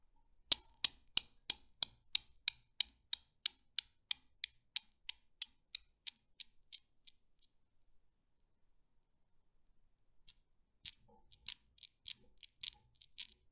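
A Newton's cradle with solid steel balls on strings is swung from both ends by fingers with long nails, and the balls collide with sharp, bright metallic clicks. About 28 clicks are heard: a steady run that slowly fades and stops, then a short silence before a new, less even burst of clicks.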